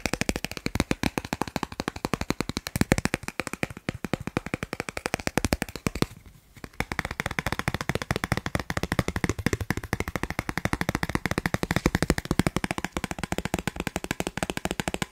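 A thin, solid, dark blue plastic Snipes gift card of credit-card size is held upright and edge-on while fingertips and nails rapidly tap and scratch its edges and face. The result is a dense, steady stream of short, dry clicks and taps with a low body and a light bright edge, broken by a brief pause around six seconds before the fast tapping resumes.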